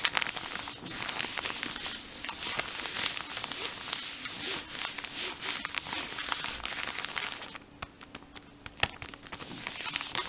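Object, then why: Plastic film cotton-pad package. Fingertips and short nails scratch and crinkle the blue plastic film of a full cotton-pad pack near its printed end. The result is a dense, bright crackling rustle with sharp ticks, which thins after about 7.5 seconds into quieter, scattered snaps.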